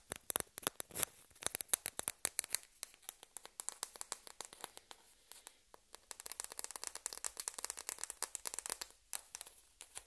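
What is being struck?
Plastic table-tennis ball.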